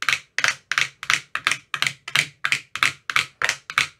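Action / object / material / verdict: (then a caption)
tap / empty plastic ice cube tray / plastic / none. A thin metal rod with a white rounded tip taps inside the hollow cells of an empty, translucent frosted plastic ice cube tray with 15 compartments. The result is a steady run of quick, sharp, hollow clicks, often in close pairs, with a bright tone centred around 2 kHz. Each tap dies away almost at once.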